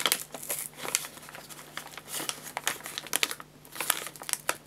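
Fingers grip and crinkle the sides of an upright 2 kg white paper bag of guinea pig food filled with pellets. The result is dense, bright, papery crackling in quick irregular bursts with sharp high snaps, over a faint steady low hum.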